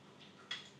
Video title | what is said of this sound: Vietnamesischer Kochkurs in Hanoi - So kochst du authentisches Pho, Banh Xeo Bun Cha und Egg Coffee! | You can really hear the spoon.